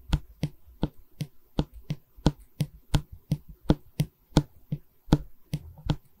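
A solid pine bar of a wooden canvas stretcher frame is held in both hands while long red nails tap and scratch the wood. About 17 short, dry taps with a low, woody thud come at an uneven pace, with faint scratching between them.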